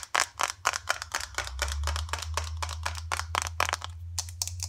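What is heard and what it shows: Long dark acrylic nails tap quickly on the sides and lid of a small green plastic face cream jar, hollow and likely filled. The taps come as fast, uneven bursts of bright, dry clicks centered around 1 kHz that die away almost instantly. A steady low hum sits underneath throughout.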